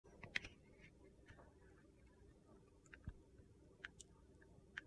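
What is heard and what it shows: A box cutter blade shaves and scrapes the red coating off a solid red Ivory soap bar held in the hand, exposing the white soap underneath. Quiet, sparse, crisp scrapes and clicks, bright around 2 kHz with high flicks, stand out from a low, soft background hiss.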